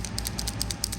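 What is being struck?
Plastic paint marker with a mixing bead.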